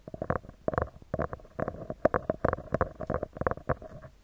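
Fingertips and short nails of both hands tap and scratch the round, hollow metal mesh grille of a handheld recorder microphone. A rapid, irregular series of close, dry taps and scratchy rustles carries a hollow, resonant tone around 625 Hz. Each sound dies away almost instantly.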